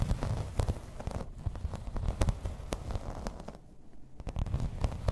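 Long red nails tap and scratch across the embossed pattern of a grey plastic placemat lying flat. Quick, dry clicks and rough scraping strokes come in an irregular stream over a soft, low rumble, easing briefly before the tapping picks up again toward the end.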